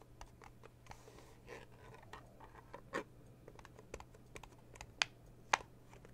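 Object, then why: Small metal tea tin lid. Fingertips and long blue nails rapidly tap on the lid of a small red metal tea tin, making quiet, bright clicks like typing on a keyboard. The soft, irregular taps are broken by a few sharper, louder clicks near the end, over a faint steady low hum.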